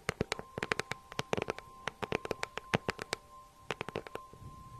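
A small, hollow green crocodile-embossed faux leather handbag with a gold clasp, held in one hand, is tapped and scratched with long nails. Quick, dry, bright clicks come in uneven bursts with a short pause before a final cluster, while a faint steady tone hums underneath.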